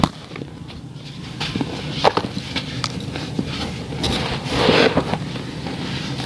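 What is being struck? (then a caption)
Clumps of packed sand. Fingertips squeeze and rub a small ball of packed grey sand over a basin of loose sand until it crumbles. Sharp, dry crackling snaps ride on a steady gritty hiss, building into a brighter, louder rush as the sand pours down between the fingers near the end.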